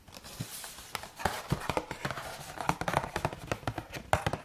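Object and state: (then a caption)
Cardboard box of rice cakes. A green-and-white Carrefour Bio cardboard box of rice cakes, held upright, is tapped and scratched with fingertips and nails. Quick, dry, hollow taps with a mid-pitched knock come in an uneven, rapid series over a soft, continuous scratching rustle.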